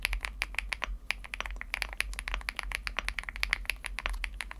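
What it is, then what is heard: Aluminum mechanical keyboard with plastic keycaps. Fingertips type quickly on a budget Chilkey ND75 75% mechanical keyboard with a teal aluminum case and plastic keycaps. The keystrokes are short, crisp and bright-toned, landing in a dense, uneven stream with almost no ring after each press, over a faint low hum.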